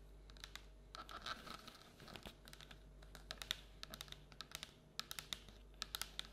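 Long black and orange nails scratch and tap along the outside wall of a hollow printed paper or cardboard Halloween treat bucket with an orange-and-black pumpkin print, held tilted on a table. Soft, dry scraping and crinkly rustling mix with quick, crisp, bright taps that die away almost instantly.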